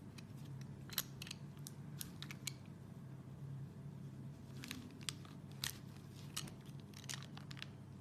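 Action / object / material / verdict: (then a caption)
scrape / bar of soap shaved with a serrated peeler / soap / none. A solid, translucent red soap bar, hand-sized and held in one hand, is shaved with an orange Y-peeler with a serrated metal blade, and curled shavings fall onto a bamboo mat. Quiet, repeated scraping strokes give short, bright, crisp crackles and scratches over a low, steady background hum.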